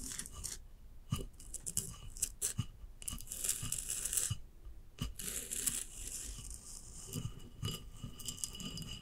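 A large hollow ceramic vase lying on its side, with a glossy glaze and a rough sandy band, is scratched with long acrylic nails. Dry scraping and rasping strokes mix with sharp clicks and taps, bright and hissy up high with short, dull knocks underneath, and almost no ring after each contact.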